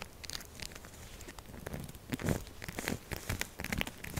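Long acrylic nails scratch fast and hard across a solid, textured purple soap bar standing on a table. The result is dense, crackly, crinkling scrapes with a dull low body and bright, sharp edges. The scratching grows louder and busier in the second half.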